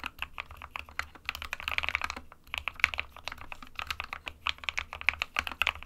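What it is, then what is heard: Plastic mechanical keyboard. Both hands type rapidly with fingertips on an SK61 small 60% mechanical keyboard with a white plastic case and plastic keycaps, resting on a printed desk mat. The result is a fast, uneven stream of short, bright plastic clacks centered around 2 kHz, with a brief lull near the middle.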